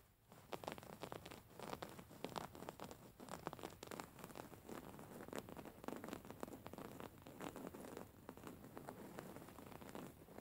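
Long fingernails scratch and pinch a soft, stuffed white cotton pillow with raised floral embroidery. The result is a quiet, continuous run of dense, rapid scratchy crackles and rustles, each click dying away almost instantly, like light patter on fabric.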